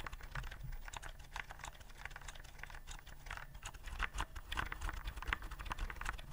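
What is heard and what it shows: Fingertips tap the round keycaps of a white plastic typewriter-style keyboard held upright. A rapid, steady run of short, dry plastic clicks with bright, crisp edges plays over a low, continuous rumble. Each click stops almost at once.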